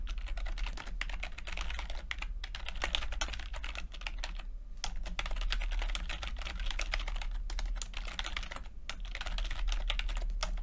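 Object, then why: Plastic computer keyboard. Fingertips of both hands type continuously on a full-size plastic backlit computer keyboard with red and blue lit, low-profile keycaps. The result is a steady stream of quick, bright key clicks with short pauses, over a constant low hum.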